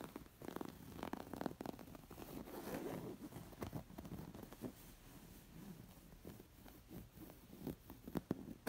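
Long nails scratch the raised embroidery stitching on a coral, square, stuffed linen cushion. A quiet, steady, soft rasping fills the clip, broken by brief sharper scratchy ticks, mostly in the low and middle range.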